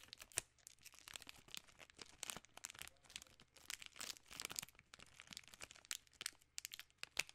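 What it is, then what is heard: Plastic candy bar wrapper. A full king-size Reese's in a plastic film wrapper is crinkled and scratched with long nails. The result is a quiet, steady stream of dry, bright crinkles and sharp crackles with almost no low end, each snap dying away instantly.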